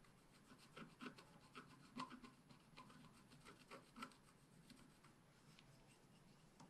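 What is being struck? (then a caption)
Wax-coated scratch-art paper scraped with a wooden stick. A wooden stick scratches across a black-coated scratch-art paper page held flat by hand, working near the drawn unicorn's tail. Quiet, dry rasping strokes come in an irregular rhythm, with short scratchy bursts centered around 1 kHz and a faint bright hiss. Each stroke stops abruptly with almost no ring.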